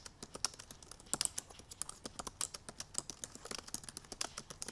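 Long purple nails type rapidly on the black plastic keys of a silver aluminum MacBook Pro laptop keyboard. About 34 quick, sharp taps come in an uneven, fast stream, each a bright, dry click that dies away almost instantly. There is very little low end beneath the taps.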